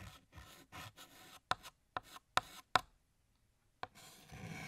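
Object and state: Chalk writing on a chalkboard.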